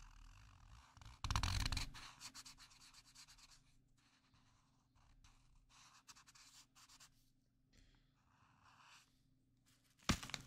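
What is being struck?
Felt-tip highlighter on paper.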